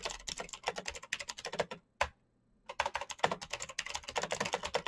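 Fingertips type rapidly on a black plastic mechanical keyboard with clicky switches, producing about 30 sharp, bright clicks with very short decay. The typing runs continuously, pauses briefly after one lone keystroke near the two-second mark, then resumes at the same fast pace.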